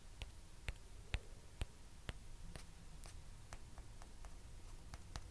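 Two small hollow white plastic ping pong balls are tapped with long nails and knocked against each other. The result is a quiet, irregular series of short, dry clicks with a bright tick on top. A low, soft hiss sits underneath.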